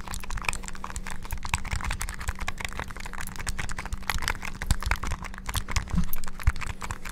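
Fingertips rapidly press the buttons of a small, black, hollow plastic flip-open handheld game console. The result is a dense, continuous stream of short, dry plastic clicks and taps that die away almost instantly, with a faint steady low hum underneath.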